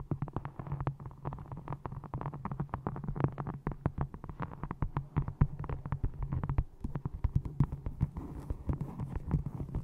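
A small hardcover book with a textured brown faux leather cover is held upright close to a microphone and tapped and scratched with long nails. The result is a rapid, dense stream of dull, low-heavy taps with very short decay, mixed with soft scratching and a steady low hum underneath.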